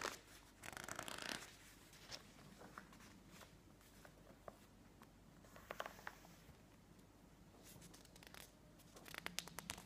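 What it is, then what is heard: Glossy paper magazine. Fingertips rub and press the pages of a thick glossy-paper home-decor magazine lying open on a wooden table, then flip a page over. Soft scratchy rustles and bright paper crackles come in bursts near the start, midway and at the end, with quiet, faint rubbing in between and a light flutter as the page turns.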